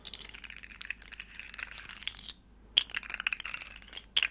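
Long nails rapidly tap and click the segments of a small, hollow, rainbow plastic segmented slug fidget toy. The dry, bright clicks come in quick, irregular, typing-like bursts, with a brief pause about halfway through before the tapping resumes with a few sharper clicks.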